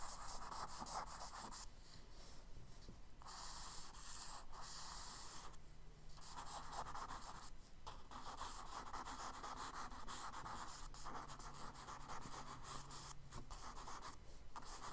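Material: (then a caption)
Paper. A charcoal stick scratches small textured marks into a tree line on a kraft paper sketchbook page. The result is a steady, soft, dry scraping and rubbing with brief pauses and bright, gritty texture over a low hum.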